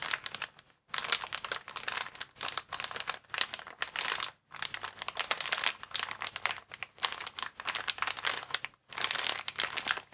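A transparent, hand-sized plastic air column cushion bag, made of hollow, air-filled vertical tubes, is squeezed and rubbed by fingertips and thumbs. It gives off a steady run of bright, crisp crinkling and crackling in rapid bursts, with a few short silent gaps between squeezes.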